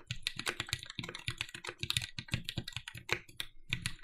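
A compact red-cased TGR 910 SE mechanical keyboard with Cherry MX "Vintage" Black switches, an aluminum plate and black plastic keycaps is typed on continuously with the fingertips of both hands. A rapid stream of short, crisp clicks and clacks with bright highs and a low thock under each press runs through the clip, each stroke dying away almost at once.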